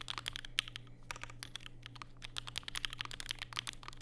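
Fingertips type continuously on a compact black Vega mechanical keyboard with plastic keycaps and Durock POM switches, resting on a desk mat with a white wrist rest. Rapid, crisp key taps sound bright and short, with almost no ring, over a faint steady low hum.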